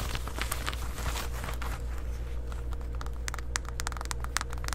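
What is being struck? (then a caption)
Denim shorts. Long white acrylic nails scratch and rub worn black distressed denim shorts, a soft fabric garment, around the waistband and pocket. Dry, scratchy rustles and bright, quick clicking scrapes sit over a steady low hum.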